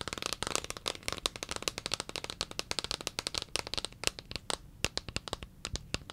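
Long fingernails tap and scratch a large, hollow white plastic Cetaphil cream tub with a green plastic lid and a paper label. The result is a rapid, continuous stream of sharp, dry, bright clicks with almost no ring, plus a faint scratchy rustle between the taps. The taps are dense at first and become more spaced out toward the end.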